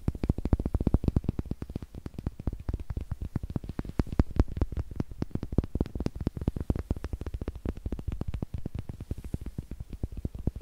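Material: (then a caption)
Wood. Two small, solid, light unfinished wooden eggs are held in the fingers close to a microphone, tapped with long nails and clicked together. The result is a rapid, steady stream of short, dry taps with a deep, thumpy low end and almost no brightness. Each tap dies away instantly with no ring.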